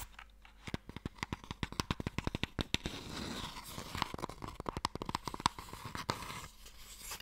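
Fingernails tap and scratch the top of a small, long, hollow wooden Mikado box held in the hands. Quick, dry, sharp taps come in rapid bursts, with a hollow knock near 1 kHz. Stretches of bright, raspy scratching run between the tapping.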